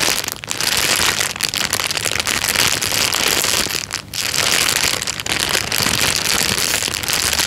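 A thin, clear plastic bag is crinkled by hand and then pressed flat with the fingers. It makes a dense, steady, bright crackle with almost no low end, dipping briefly only a few times.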